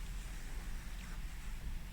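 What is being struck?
Nothing is struck.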